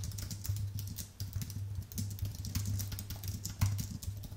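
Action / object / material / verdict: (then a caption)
tap / aluminium and plastic computer keyboard / aluminium, plastic / none. Dense fingertip typing with both hands on a thin, white Apple full-size keyboard with a solid aluminium base and plastic keys. Rapid, soft, overlapping clicks with bright, short clacks ride over a steady low hum near 100 Hz, and the keystrokes keep coming in quick bursts with brief dips between them.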